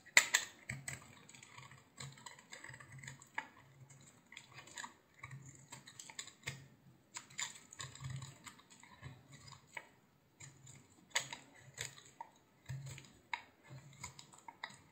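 A utility knife blade shaves the surface of a hand-sized, solid yellow bar of soap in a series of short, quiet strokes. Each pass makes a crisp, bright scraping crackle that dies away almost instantly, with brief pauses between strokes.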